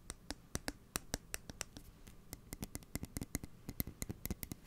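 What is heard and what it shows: A steel kitchen scissor blade held upright by the microphone is scratched and tapped with fingernails. Quiet, irregular, rapid taps give sharp, bright clicks that die away almost instantly, with faint scratching and a soft low rumble between them.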